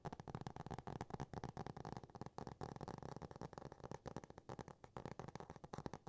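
Fingernails from both hands rapidly tap and scratch the solid, laminated cardboard cover of a Dr. Seuss hardcover book. The result is a quiet, steady stream of dull, dry clicks and scratchy rustles with a low-heavy body, very little brightness, and almost no ring after each tap.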